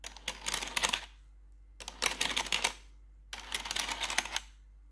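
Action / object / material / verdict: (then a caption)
tap / plastic computer keyboard / plastic / none. Metal claw nails tap rapidly across the keys of a black plastic RGB computer keyboard in three short bursts separated by brief pauses. The taps are bright, dry clicks with almost no ring, over a faint steady low hum.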